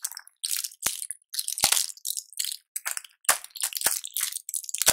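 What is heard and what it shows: Latex-gloved fingertips press and crush the clear plastic bubbles of a small blister pack of colorful pills on a foil backing. The result is a run of bright, dry crackling bursts broken by short silences, with a few sharp clicks standing out.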